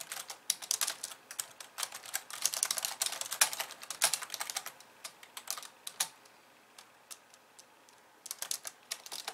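Fast typing with long nails of both hands on a pink plastic computer keyboard with white keys. Dense runs of sharp, bright, quick clicks fill the first six seconds, thin to a few scattered taps, then pick up again near the end.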